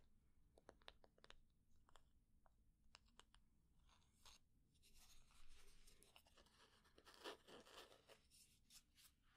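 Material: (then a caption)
Wood. A wooden candle lid is tapped with slow and medium-speed taps, giving short, sharp clicks that give way to scratching. The scratching builds into a denser, rougher, broadband texture over a low background hum.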